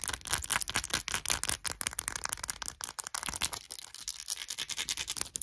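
A small, hollow cut-glass perfume bottle with faceted diamond-pattern glass, filled with golden liquid and topped with a gold cap, is scratched and tapped with short nails over its textured facets. A rapid run of bright, crisp clicks and scratchy rasps follows, with a thin high glassy ring above them. Each tap dies away almost at once.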